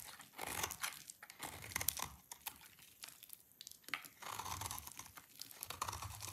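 A utility knife blade scrapes an oval solid bar of dry green soap held in one hand, with the shavings collecting below. A dry, crumbly, bright scraping and crunching comes in a rapid run of short strokes with brief pauses between bursts.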